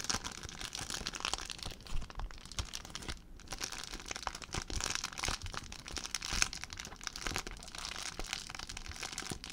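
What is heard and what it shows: An empty clear plastic zip bag is crumpled and crinkled by hand. The result is a steady stream of dense, bright crackles and crisp rustling with a few sharper snaps, each dying away almost instantly.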